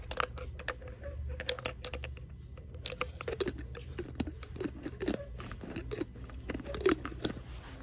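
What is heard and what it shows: Long nails tap and scratch the pink cap and body of a hollow, empty, clear purple plastic water bottle with a straw. Quick, irregular clicky taps and brief crinkly scrapes play over a steady low hum, each tap dying away almost at once.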